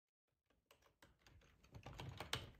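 Fingertips of both hands type on a black plastic ergonomic split computer keyboard with a hollow housing, lying on a tablecloth. Quick, bright clacky key taps come in a steady, overlapping run over a soft low thump. The taps grow louder toward the end, with one sharp, bright tap standing out near the close.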